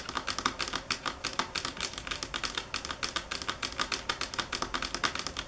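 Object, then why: Marble table top. Long fingernails tap on a marble table top at varying speed and force, making a rapid, uneven run of sharp, bright clicks. Each tap is crisp and dies away almost at once, with a faint tone near 1.2 kHz and very little low end.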